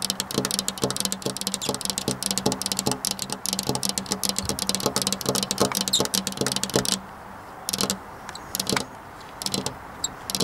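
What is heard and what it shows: Long black-polished nails tap rapidly on a flat glass window pane near a metal rail, making a dense stream of sharp, bright clicks over a steady low hum. After about seven seconds the hum drops away and only a few scattered taps sound against a quieter background.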